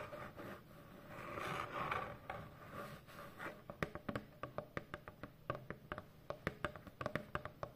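Long fingernails scratch slowly across the surface of a large, hollow corrugated cardboard shipping box. A soft, rasping scrape swells and fades over the first few seconds. It then breaks into a quick run of short, dry scratches and clicks with little ring.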